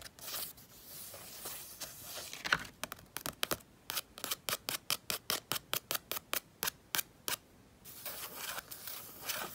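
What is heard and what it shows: Fingertips with painted nails scratch and rub the thick paint of a full-moon and sky painting on a spiral sketchbook page. A soft, continuous hiss of rubbing opens and closes the clip. In between is a steady run of short, crisp, bright scratches.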